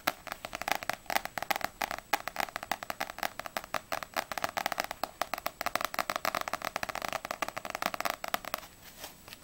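Long nails tap rapidly on the glossy front cover of a small, solid paperback manga, Ousama Game volume 2, and then on its glossy back cover. The taps are dense, crisp, dry clicks with a papery mid-range tone and bright edges, and almost no low end. Near the end, the tapping grows softer and sparser.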